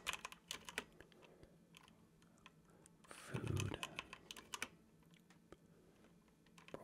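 Fingertips with short nails on both hands tap continuously across a dark plastic computer keyboard, a flat, hollow, key-covered device. The clicks are quick and irregular, with sharp bright ticks. Around the middle there is a louder, fuller burst with a low thump.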